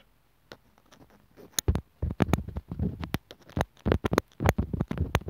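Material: Plastic.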